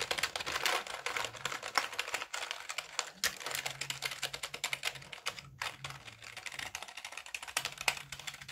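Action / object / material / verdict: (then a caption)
tap / plastic computer keyboard / plastic / none. A full-size black Dell wired keyboard with plastic keys and a hollow plastic case is held up in both hands while its keys are tapped with the fingertips. This produces a dense, fast stream of bright, dry plastic clicks with very short decay and little low end. A faint low hum runs underneath.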